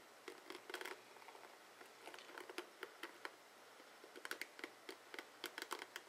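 Fingertips and nails strum and scratch the plastic pins of a dark blue plastic oval paddle hairbrush with a rubber cushion and hollow head. The result is a quiet, irregular run of short, crisp clicks and scratchy ticks with bright, papery edges, some in quick clusters, each dying away almost instantly.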